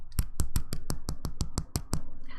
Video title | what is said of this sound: April 12, 2023 - Live Dip Powder Manicure Replay - Blue Daisy Spring Nails | to make sure that your nails are cured and ready to buff, just tap the nail. And when you hear that sound, you know they're ready to go.